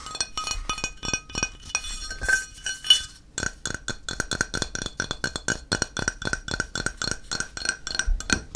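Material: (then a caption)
Ceramic. A flat, solid grey-white ceramic tile is held in one hand while the other hand's fingertips and nails tap and scratch its face. Dozens of bright, glassy clinks follow one another, each dying out almost at once and carrying a high ringing tone near 3 kHz. The first three seconds mix slower taps with scratching, then the tapping becomes a quick, steady patter.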